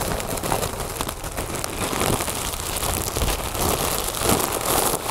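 A large, inflated, hollow mylar foil "Happy Birthday" balloon is scratched and tapped across its surface with the long nails of both hands. The result is a steady, dense crinkling and crackling rustle with quick taps scattered through it. Its thin, papery texture runs from a low body up to bright, high edges, and it stays at an even loudness throughout.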